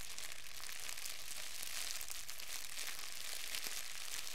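A fist-sized wad of thin clear plastic wrap is held in both hands, crumpled and squeezed with the fingertips. It gives a steady, dense crackling crinkle with bright high hiss and no breaks between sounds.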